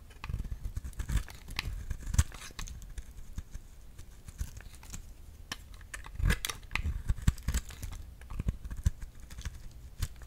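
A solid round cream bar soap held in the palm is sliced with a utility knife blade, shaving off thin peels. Many quiet, short scraping and shaving ticks come in uneven bursts, with soft low thuds and a few brighter crisp snaps.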